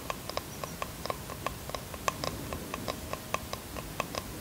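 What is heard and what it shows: Fingernails tap the wooden edges and face of a small bamboo box held in the hands, producing about 16 light, dry clicks at an uneven, unhurried pace. Each tap is short with almost no ring, centred around 1 kHz with a bright edge, over a soft, quiet background hiss.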